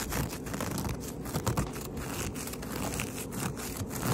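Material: Carpet fibre.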